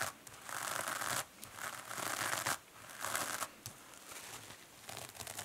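Long nails scratch a two-sided kitchen sponge held in the hand, first the green foam side, then the silver metallic scouring-pad side. The solid, porous sponge gives dry, bristly scratching bursts, bright and mid-range, with brief quiet gaps between strokes.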